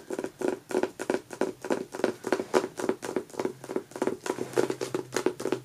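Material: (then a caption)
Paper. Long natural nails and fingertips tap and scratch the front cover of a closed, solid hardcover book, "Apple of My Eye," with a matte paper dust jacket, lying flat on a fabric couch. The result is a quick, uneven run of soft, dry taps and scratchy brushes. Each sound is short with almost no ring and sits in the low-mid range with little deep bass.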